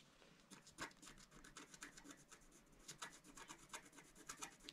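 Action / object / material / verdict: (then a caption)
scrape / scratch-art paper sheet scratched with a wooden stylus / coated paper / none. A pointed wooden stylus, held in the fingers, scratches across a flat, solid, black-coated scratch-art sheet over rainbow foil, about A4 size, lying on a table. A rapid series of short, dry, bright rasping strokes follows, each stopping almost at once, with a few louder scrapes standing out against a quiet background.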